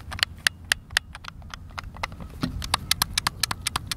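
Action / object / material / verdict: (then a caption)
tap / plastic game controller / plastic / none. Fingertips and thumbs repeatedly press and click the face buttons and sticks of a white, hand-sized, hollow plastic Xbox controller with buttons, held in both hands over a wooden picnic table outdoors. The result is a rapid, irregular run of sharp, bright plastic clicks that stop almost instantly, centered near 1.8 kHz, over a faint low rumble.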